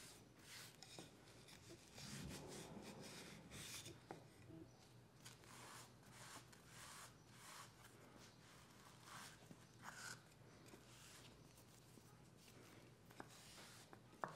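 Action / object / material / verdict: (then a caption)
scrape / small wooden spoon / wood / none. A folded cloth pressed by fingers rubs over the bowl of a small, solid, light-colored wooden spoon lying on a fabric mat. The result is a quiet, continuous soft rubbing and rasping with a low hum underneath and a few faint, sharp ticks.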